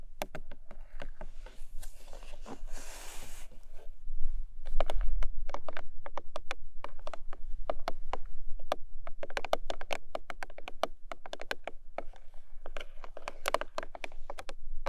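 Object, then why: Small paperboard box. Long nails tap rapidly and unevenly on the top edge of a long pink paperboard product box turned onto its side, making dry, sharp clicks over a faint low hum. A brief rough, hissy stretch sounds early on before the quick tapping continues.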